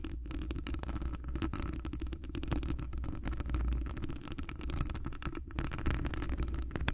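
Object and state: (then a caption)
Metal microphone mesh grille. Long decorated acrylic nails on both hands scratch all around the rounded, hollow metal wire-mesh grille of a large condenser microphone. The result is a dense, continuous stream of rapid scratches over a heavy, rumbling low-end drone, with little brightness and a steady level throughout.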